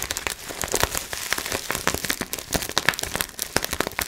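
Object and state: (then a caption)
Plastic bubble wrap. Clear plastic bubble wrap is bunched in both hands while the fingers crinkle it and pop the bubbles. A steady, bright crackling runs throughout, with sharp, quick pops standing out over the rustle.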